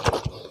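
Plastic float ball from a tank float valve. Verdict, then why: Full. A plastic float ball taken off a faulty water tank float valve is shaken, giving two dull, low sloshing thumps from the water inside. The ball is heavy and completely full of water that leaked in at its threaded nut, when it should be light and empty. So it cannot rise to close the valve.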